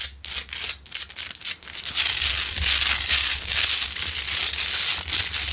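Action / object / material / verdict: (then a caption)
scrape / Himalayan salt rock lamp / rock salt / none. Long nails on both hands scratch the surface of a large, solid, rough pink Himalayan salt rock lamp that is lit. Quick, separate, bright scratching strokes at first give way to a dense, continuous, hissy scrape, with a faint low hum underneath.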